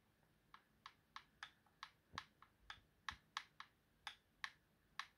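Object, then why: Plastic game controller. Fingertips press and tap the buttons and thumbstick of a hollow, white plastic Xbox game controller, with the hand covering part of it by the end. Fourteen short, dry, bright clicks sound one by one at an uneven pace, each with a sharp attack and almost no ring. They are quiet, and a few land with a slightly duller low thump.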